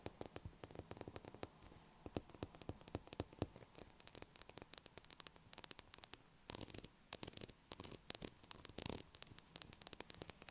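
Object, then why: Bar of soap tapped and scratched with fingernails. Long acrylic nails tap and scratch a solid blue bar of soap lying on a table, making a quiet, rapid stream of sharp, bright clicks and brief scratchy bursts. The ticks come in irregular runs with short pauses, over a faint low hum and background hiss.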